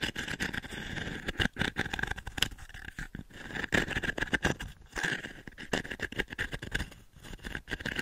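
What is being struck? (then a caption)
Wooden pin brush. Fingertips and long nails scratch and rake across the dense pin grid of a small octagonal wooden-frame pin brush. It makes a rapid, crackly stream of dry scratching clicks with a steady mid-high whine around 1.5–2 kHz. Louder raking bursts come and go over the whole clip.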